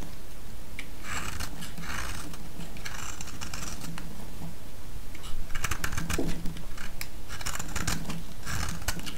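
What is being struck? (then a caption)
Bar of soap cut with a blade. A palm-sized solid yellow bar of soap is held in the hand and shaved with a utility-knife blade, giving bursts of dry, bright scraping over a steady low hum. Near the middle, the cuts come faster and louder as crisp, crackly slices, then ease back into softer, spaced-out scrapes.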